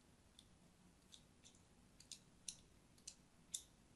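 A thin metal blade scores lines into the surface of an orange and white striped solid soap bar held in the hand. It makes eight short, bright, crisp scraping clicks at an uneven pace, and they grow louder toward the end over a quiet, low background hiss.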